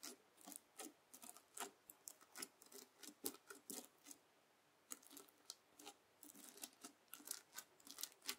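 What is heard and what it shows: The tines of a white plastic fork are dragged and poked through flat red bead slime (floam) full of small plastic beads on a white table. Dozens of quick, bright crunchy crackles and scratches come in uneven bursts, with a brief quiet pause about halfway through. The sound is soft, close and high-pitched, with no low rumble.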